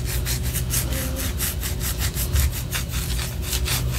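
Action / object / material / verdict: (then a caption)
scrape / wax pillar candle / wax / none. Long orange nails scratch a white solid wax pillar candle in quick, steady back-and-forth strokes. Each stroke is a bright, dry rasp, and together they form a continuous rhythmic scratching over a low rumble at an even level.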